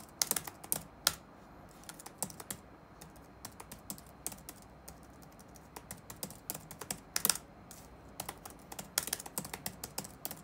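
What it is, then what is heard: Plastic laptop keyboard being typed on. Fingertips type on the black plastic keycaps of a dark laptop resting on a wooden desk. The result is a steady run of short, crisp, bright clicks with almost no low end, each dying away instantly over a faint background hiss.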